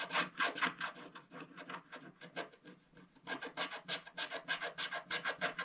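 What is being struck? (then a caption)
Wax-coated scratch-art paper scraped with a wooden stylus. A wooden stylus scratches away the black wax coating on a colored paper page of a spiral-bound scratch-art book, working near the drawn table and basket. Quick, uneven, dry rasping strokes come with a bright, papery hiss, easing off briefly near the middle before picking up again.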